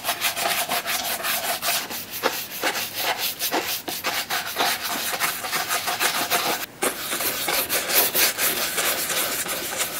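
A wooden-handled bristle brush sweeps in quick, close strokes over the smooth black leather upper of a Red Wing 2951 boot near its metal eyelets. The result is a steady, dense, bright scratching rustle with rapid stroke-by-stroke pulses and a brief pause just before the seventh second.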